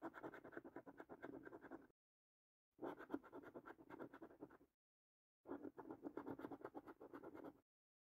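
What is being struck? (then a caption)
Paper scratch card with latex coating. A coin scratches the remaining latex coating off the panels of a thin cardboard paper scratch card. Three bursts of rapid, gritty, rasping strokes sit in the low-mid range, each about two seconds long and separated by short silences.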